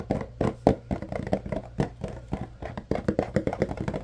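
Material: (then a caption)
Cardboard. A yellow Arm & Hammer paperboard deodorizer box is held in both hands while fingers tap and scratch its sides. About 22 quick, irregular, dull taps and soft scratches sound over four seconds, each dying away almost at once with little ring. The tone is low and papery, with almost nothing bright.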